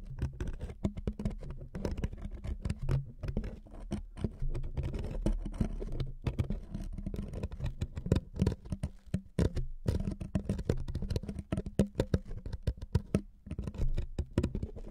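Fingernails of both hands rapidly scratch a thin wood veneer sheet resting on two microphones. The result is a dense, continuous patter of short, dry scratches and clicks, heavy in low, muffled thumps, with brief gaps between bursts.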